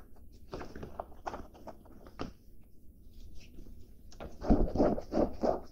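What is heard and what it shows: Long black-painted nails scratch across blue denim jeans with a red label and a stitched pocket. The result is a series of soft, rough rasping strokes at a quick, uneven pace. The strokes grow louder and fuller near the end.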